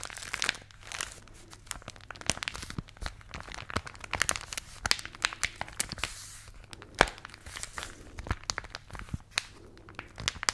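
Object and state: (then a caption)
Folded newspaper being crinkled. A thin, flexible folded newsprint newspaper is held up close to the mics and squeezed, crinkled and rubbed with long manicured nails and fingertips. Dense, dry crackles and sharp paper snaps ring bright and high over a soft rustling bed. Fingertip rubs and nail scratches come in quick irregular bursts throughout.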